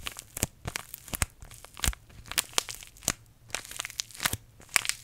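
A small green paper tea bag envelope is crushed and crinkled between the fingertips of both hands close to a microphone. Quick, dry, bright crackles and crunches come in irregular bursts with almost no ring, over a faint low hum.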